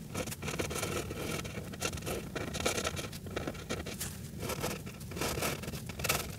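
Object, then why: Felt-tip marker on a paper page. A grey Sharpie felt-tip marker is drawn back and forth across a flat paper coloring page, coloring near Santa's face. Its tip makes a steady, dry scratching and scraping that pulses with each stroke, with bright high hiss over a low rumble.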